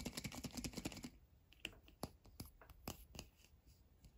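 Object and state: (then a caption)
Plastic surprise egg, tapped and scratched. A small, hollow red plastic surprise egg capsule with a paper label is held in both hands and turned over while fingertips and short nails tap and scratch its surface. A rapid, typing-like burst of dry clicks fills the first second, then sparser, sharp, bright taps follow with quiet gaps between them.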